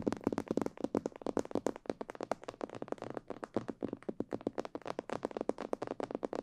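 Long purple fingernails and fingertips tap quickly on the sides and ears of a life-size, hollow, glossy black plastic mannequin head. About 36 short, dry, clicky taps come in a rapid, uneven patter, each with a slightly hollow mid-range tone that dies away almost instantly.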